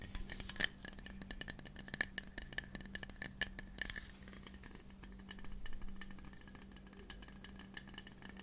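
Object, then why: Metal aerosol spray can. A hand-sized, hollow, pink printed metal aerosol spray can of the air freshener type is held upright in both hands close to the mic and tapped and scratched along its sides with fingertips and short nails. Rapid, dry taps carry a short bright metallic ping around 1.8 kHz over a steady low hum. After about four seconds the taps give way to denser, softer scratching that swells briefly before settling.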